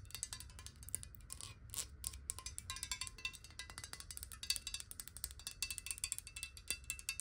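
Long nails and fingertips rapidly tap and rub near the base of a tilted clear glass bottle filled with water. The result is a dense, quiet stream of sharp, bright clicks with very short ring, plus a faint low rumble underneath.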